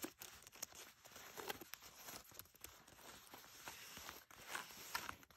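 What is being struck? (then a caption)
Denim jeans waistband. Long nails scratch the inner waistband of blue denim jeans lying flat, near the label and the belt loops. Quiet, bright, dry scratching and crinkly rasps come in quick, uneven strokes, with a few sharper peaks standing out.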